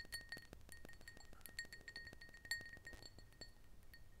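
Long nails tap and clink on the walls and base of a small, clear, empty glass tumbler as it is turned and held in both hands. A quick, uneven run of light taps sounds quietly, each leaving a short, bright glassy ring near 1.9 kHz over a low, soft background.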